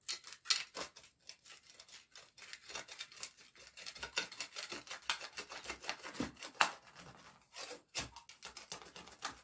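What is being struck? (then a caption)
Dried mud layer on a rug, scraped with a metal tool. A gloved hand works a small metal scraper or trowel into the cracks of a thick, cracked slab of dried mud covering a small rug, scraping and chipping the solid, dry, crumbly mud apart. Quick, crisp, bright scraping and crackling strokes come in a steady irregular run, with almost no low end and no ring after each stroke.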